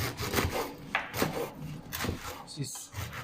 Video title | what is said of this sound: DeliMaster bakery ovens - Products for bakery shops (live stream on 14.4.2021) | you can hear it how crispy it is